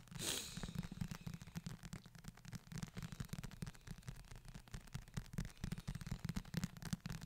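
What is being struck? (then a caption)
Leather-covered hardback book. Fingertips tap and scratch the cover of a closed, solid brown leather or faux-leather bound book, then both hands hold it near the mic. A brief bright scrape opens the clip, followed by a dense run of short, dull, low-heavy taps and rubbing scratches that die away instantly.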